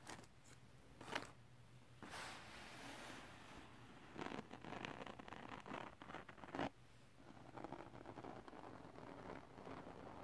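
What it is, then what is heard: Glitter paper sheet. Fingertips and short nails scratch and rub over the gritty surface of a flat, solid sheet of silver holographic glitter paper or card, while a small round item is briefly held in the other hand. The result is a quiet, dry, raspy scratching and rustling that comes in uneven bursts with a few sharper scrapes, over a faint steady low hum.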